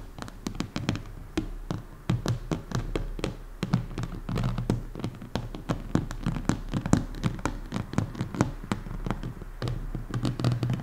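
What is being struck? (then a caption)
Plastic container lid. Long painted nails tap and lightly scratch the top of a large, round, orange Tupperware-style plastic lid that lies flat and hollow on a table. Rapid, short, dry taps with bright clicky edges sit over a low, hollow thump that dies away almost instantly. Faint scratches and a steady low hum fill the gaps between them.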